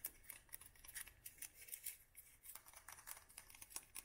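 Long nails tap quickly and irregularly on the sides of a palm-sized green textured glass jar filled with wax, with the candle lit. The result is a steady run of about twenty quiet, bright, clicky taps that die away almost instantly with little ring, over a faint low background.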